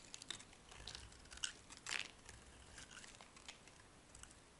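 A solid, hand-sized blue bar soap with white stripes is held in the hand and shaved and scraped with a metal utility blade, and dry flakes fall off. Quiet, bright, crinkly scraping comes in short, irregular crisp bursts, with a louder, fuller scrape near the middle.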